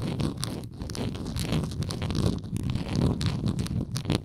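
Long nail tips scratch the bottom edge and side of a hollow, textured plastic Tums tablet bottle with a blue lid. The result is a steady, dense rasping, heavy in the low range, with short bright scratchy bursts.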